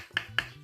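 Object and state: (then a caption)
Frozen solid bread rolls. Frozen unbaked potato bread rolls, a day after going into the freezer, are knocked together. Two sharp, hard clicks ring out, sounding like stone and showing the rolls are frozen solid before thawing and baking.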